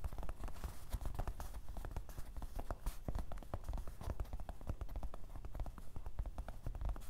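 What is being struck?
Canvas fabric fanny pack.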